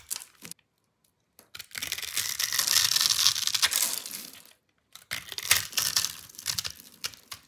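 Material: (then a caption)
Soap. A solid rectangular bar of dry pink soap, pre-scored into a grid and held in the hand, is scraped with a metal utility-knife blade so it crumbles into small cubes. Short crisp scratches give way to a long, dense crunching scrape with bright, hissy crackle, then a pause before more sharp, crumbly scrapes. The sound is dry and high-pitched with almost no low end and no ringing.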